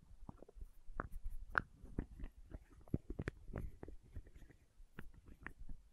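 Fingertips and nails scratch the red plastic cap and the label of a small labeled plastic condiment bottle. The quiet, low-heavy scratching comes in short irregular strokes, punctuated by brief soft clicks and taps that die away instantly.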